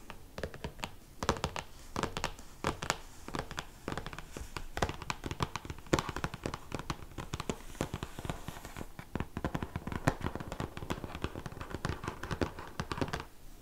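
Dense bursts of quick taps and scratchy nail strokes, each dying at once, with a soft low thump under the taps. A firm, glossy hardcover book lying closed; the stiff board deadens the hits while the slick coating adds a bright scratch. Small room.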